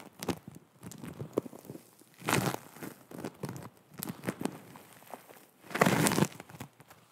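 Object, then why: Foam bead clay. Long nails scratch and squeeze a flattened disc of green and pink foam bead clay (floam). Soft crinkly, crackling clicks and rustles are punctuated by two louder, longer squishing bursts as the beads are pressed.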